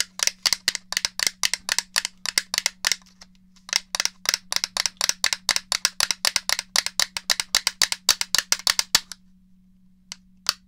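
A grey hollow plastic Nintendo 64 game controller is held in one hand while long fingernails of the other hand tap and click on its shell and buttons. About fifty quick, dry, bright clicks come in rapid bursts, with a brief pause near the middle and a few final taps after a longer gap, over a faint steady low hum.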